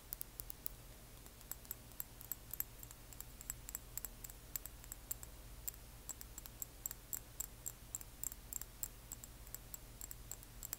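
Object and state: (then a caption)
Small glass dropper bottle. Long nails tap and scratch a small frosted amber glass serum dropper bottle, held at an angle, and its label. Quick, bright, sharp clicks with very short ring sound in an irregular stream over a faint low hum.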